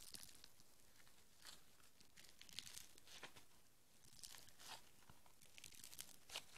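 A small lump of soft, solid green foam bead modeling clay is held in the hands while fingertips with long nails squeeze, knead and pull it apart. It gives quiet, crackly tearing and crinkling sounds, with bright little pops scattered over a soft, steady rustle.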